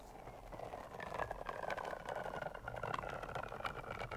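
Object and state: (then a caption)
Rubber spiky toy being scratched. A long, pink, squishy rubber (TPR) caterpillar toy, about 40 cm, covered in spikes and with googly eyes, is scratched and squeezed along its length with long nails while held above the microphone. The result is a dense run of quick, soft scratching clicks and rubbery rustles over faint, drawn-out squeaky tones around 1 kHz.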